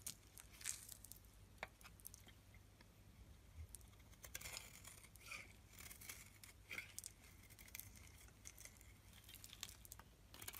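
A metal blade scrapes shavings off the face of a solid white bar of soap held in the hand. The sound is a quiet stream of bright, crisp scratching and crackling with short, dry ticks that die away almost instantly, over a steady low hum.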